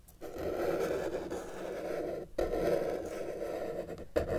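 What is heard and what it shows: A felt-tip marker held in the fingers is dragged across a flat white paper sheet lying on a table with a solid surface, drawing lines. Three long, steady scratching strokes are heard, each separated by a brief pause. The dry, raspy scratch is centred in the mid range with a faint bright hiss.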